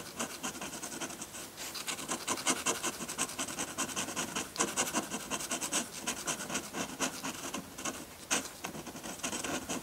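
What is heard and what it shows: A metal dip pen nib scratches dense hatching onto a flat sheet of white drawing paper. Quick, bright, raspy strokes run together almost without pause, with occasional sharper scrapes standing out and very little low end.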